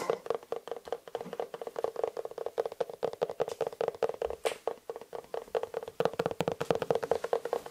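Fingertips and nails tap and scratch the smooth upper of an empty, hollow black leather lace-up shoe in the Dr. Martens style, with a yellow-stitched sole, held close. A quick, uneven run of short, dry taps fills the clip, each carrying a hollow resonance around 480 Hz with brief bright scratchy clicks on top and almost no lingering ring.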